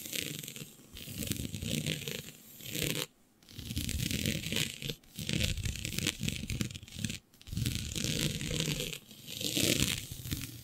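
Long nails scratch and pinch a flat sheet of black synthetic stretch fabric with a shiny dotted pattern, producing dense, raspy scratching with a soft low rumble and a bright, hissy top. The rubbing comes in sustained bursts separated by brief near-silent pauses.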